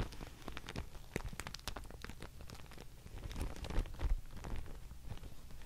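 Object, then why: Mulberry paper sheet. A thin, labelled Thai mulberry paper sheet, already crumpled, is lifted and dangled by one hand, then shaken and rustled while fingernails tap on it. The result is a dense, uneven crackle and rustle with a steady low rumble underneath and quick, sharp high ticks throughout. It grows slightly louder and busier toward the end.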